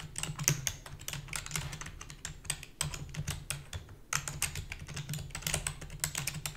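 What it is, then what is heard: Plastic computer keyboard. Rapid typing with long fingernails and fingertips on a full-size black plastic keyboard with a hollow body. It makes a dense stream of short, bright clicks and clacks over a low hollow thump, with brief pauses near 2.8 and 4.1 seconds.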